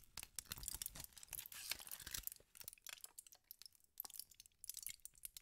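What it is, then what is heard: Crumpled aluminum foil. A crumpled wad of aluminum tinfoil is scrunched and crinkled between fingertips with pink nails. Dense, bright crackles and sharp crunches come in quick bursts, with short pauses between them.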